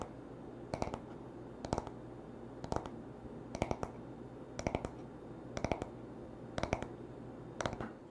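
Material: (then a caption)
Wood. Fingertips tap and short nails scratch the smooth, solid wooden back of a paddle hairbrush lying on a towel. About eight short clusters of quick, dry taps come roughly once a second, each dying out almost at once. A faint low hum runs steadily underneath.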